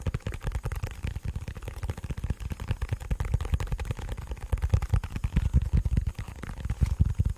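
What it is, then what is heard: Plastic bluetooth speaker. Fingertips and nails tap and scratch a black, cylindrical, hollow portable bluetooth speaker with a plastic and rubber body. The result is a rapid, steady run of short, dull, hollow thumps, deep and boomy with almost no high end, each dying away almost instantly.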